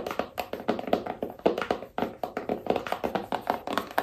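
A small rigid cardboard iPhone box held in the hands is tapped with long nails on its top, edge and narrow side. A rapid, uneven series of dry, hollow clicks and taps sits in the midrange, each fading almost instantly.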